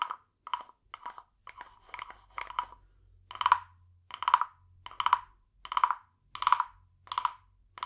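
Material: Wood.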